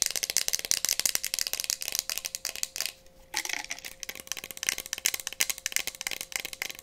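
A small, hollow, empty-looking clear glass cup with a printed decoration is held in both hands and tapped fast with long painted nails. The result is a rapid stream of bright, dry clicking taps with almost no ring and a brief pause near the middle.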